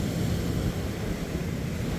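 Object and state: Nothing is struck.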